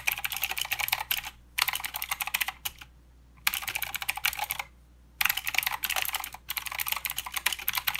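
Fingertips of both hands type on a plastic mechanical keyboard with clicky blue switches and plastic keycaps. Bright, crisp clicks come in rapid bursts, separated by short pauses and two longer gaps of silence.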